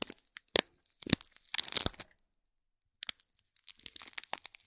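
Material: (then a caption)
Foil, plastic film. Fingertips and short nails scratch and crinkle the wrapping of a small, seemingly hollow cube gift box covered in shiny gold foil with thin plastic film and a gold cord bow. Bright, crisp crinkles and sharp scratches come in quick, uneven bursts, mostly high with little low end. The sound stops for about a second, then the crinkling resumes more softly.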